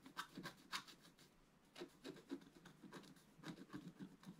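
A wooden stylus scratches a flat, black-coated scratch art card with rapid, short strokes. The dry, bright rasping comes in irregular bursts, with a brief quiet stretch near the middle.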